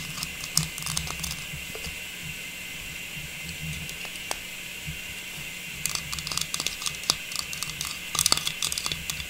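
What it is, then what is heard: Plastic star tree topper tapped and scratched. A small hollow, faceted, silver metallized plastic star tree topper with a tubular stem is held and tapped and scratched with long pink nails. Quick, bright plastic clicks and scratchy patters come in irregular bursts, busiest at the start and again near the end, over a steady high hiss. Each tap is crisp and dies away almost at once.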